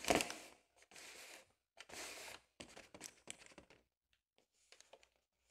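Long acrylic nails tap and rub the surface of a large, inflated, air-filled purple latex balloon, then a small brush is brought to it. A sharp tap opens the clip, followed by bursts of squeaky, scratchy rubbing and a run of quick, crinkly strokes, ending in fainter, bright brushing sounds.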